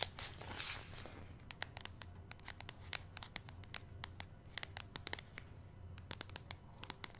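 Long nails tap and scratch across the front of a flat, medium-sized, hollow white printed cardboard face mask box from grace & stella. A brief burst of broadband scratching opens the clip, then gives way to a steady series of sharp, dry clicking taps over a low background hum.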